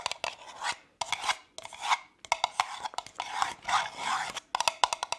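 Long nails tap and scratch the side and bottom of a hollow, apparently empty brown kraft cardboard cup with printed text, held in one hand. Quick, dry clusters of hollow clicks alternate with short, bright, raspy scratching strokes centered around 1 kHz, with no low end and almost no ring between them.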